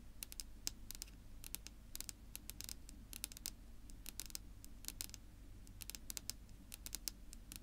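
Long natural nails of both hands tap and scratch a flat, solid, dark wood-grain tabletop, making a quick, irregular stream of short, bright clicks with soft scratching between them. A steady low hum sits underneath throughout.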